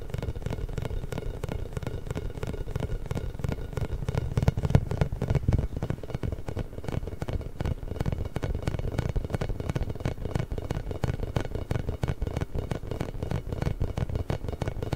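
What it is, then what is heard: Rubber spiky massage ball. A large pink inflated hollow rubber massage ball with small spikes, held beside the mic, is tapped and scratched with fingertips and nails. The result is a continuous stream of rapid, soft, hollow thumps and light scratching, heavy in low bass with a faint bright edge, holding a steady, moderate level throughout.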